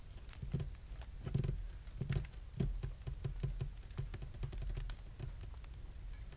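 Fingertips of both hands tap and drum on a flat, polished, solid wooden desktop. The result is a quick, uneven patter of soft, dull, low thuds with faint bright clicks, each stroke dying away almost at once.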